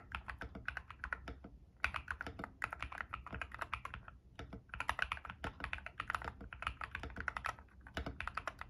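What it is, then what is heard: Mechanical keyboard with PBT keycaps. Fingertips type rapidly on an ilovbee i61 white-case 60% mechanical keyboard fitted with Frankenswitches with P3 stems and white and grey PBT keycaps, resting on a desk mat. Bursts of crisp, clacky key presses with a bright, mid-focused tone run in quick streams, broken by two brief pauses.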